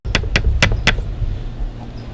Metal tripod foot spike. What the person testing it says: when the tripod is fully extended or even when it's fully compacted and you knock it around you can hear the loose part in the bottom reverberate